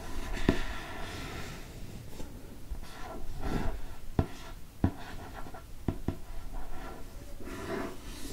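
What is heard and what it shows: A fingernail traces and scratches the paper of a hardcover book held open at its printed inner flap with an owl. Soft, low, continuous rubbing and scratching is heard, broken by five short, sharp taps.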